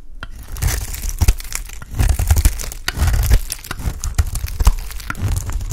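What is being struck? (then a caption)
Bar of soap shaved with a knife blade. A white, solid, rounded bar of soap held in the hand is shaved into flakes with a utility knife blade. The result is a continuous run of dry, crinkly scraping and crunching strokes with bright crackle over deep, low thumps.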